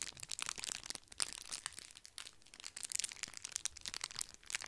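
Two matching small twisted red foil candy wrappers, one held in each hand, are crushed and crinkled with the fingertips beside the microphone. The thin foil gives a dense, bright, crackling crinkle with sharp snaps and almost no low end, easing briefly near the middle before building again.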